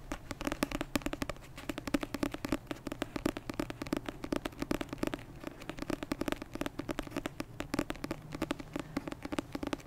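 A dark paperback copy of the novel "56 Days", a solid paper block with a glossy card cover, is held beside the mic and tapped with long red-painted nails. Rapid, dry, close-up taps and clicks come in quick uneven bursts with no ring, producing a soft papery thud around the low mids for about ten seconds.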